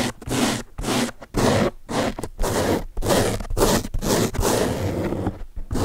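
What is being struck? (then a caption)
Foam car sponge. Fingertips and nails scratch the top surface of a large blue open-cell foam car sponge, a soft porous block. Repeated rough, airy scratching bursts come in an uneven rhythm with short silent gaps, each a broad hissing rasp with a soft low rumble underneath.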